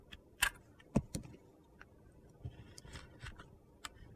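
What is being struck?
Bar of soap scraped with a metal blade.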